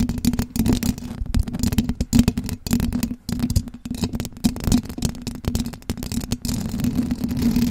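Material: Metal mesh.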